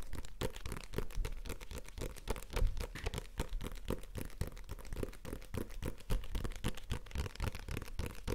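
A small, solid "Ki&Hi" paperback comic book with a glossy card cover is held up in one hand and tapped and scratched with the fingertips and nails of the other hand. Rapid, dry taps and thuds come in quick succession with no ring, heavy in the low end and laced with scratchy, crinkly rustling between them.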